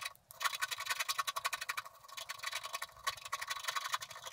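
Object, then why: Coated scratch-art card scratched with a wooden stylus. A wooden stylus scratches the lower area of a coated scratch-art card in a rapid run of short strokes. Each stroke is a dry, bright scraping rasp with no low end, with a slightly quieter stretch near the middle before the strokes pick up again.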